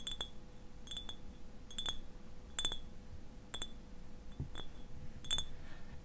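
Fingernails tap the bottom and sides of a clear glass eyewash bottle, partly filled with liquid and held tilted on its side. It makes a series of short, bright, glassy clinks that ring near 3.5 kHz and fade quickly. Beneath them sit a low rumble and a faint steady hum.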